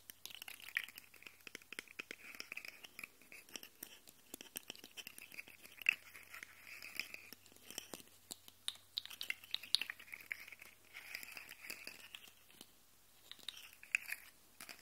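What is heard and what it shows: Fingertips and nails scratch and rub along the segments of a rainbow plastic articulated slug fidget toy and flex its joints so they click. The result is a quiet, dense, bright stream of tiny crisp clicks and scratchy rustling, with a few sharper, louder clicks standing out. Brief pauses break up the sound, and there is almost no low end.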